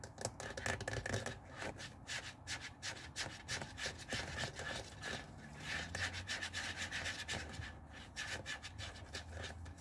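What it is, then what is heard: Plastic garment steamer water tank. Fingertips and nails rapidly rub and scratch the hollow blue plastic water tank of a handheld Tefal garment steamer lying on a wooden table. The result is a dense, continuous run of bright, raspy scratches with a faint hollow thump underneath and a thin steady tone near 1.7 kHz.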